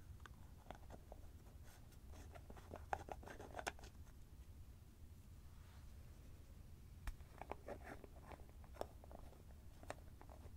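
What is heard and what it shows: A small white plastic cream jar with an orange plastic lid, hollow and likely full of cream, is held in both hands close up while fingertips twist the lid back and forth. Quiet scratchy plastic thread friction is broken by sharp little clicks, over a soft low hum.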